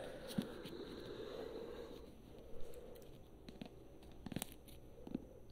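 Long nails tap and scratch the glossy paper cover and page edges of a thick paperback book held in one hand. A soft, steady scratchy rustle runs throughout, punctuated by short, dry taps that stop almost instantly. The sound is quiet and close, with most of its weight in the low range.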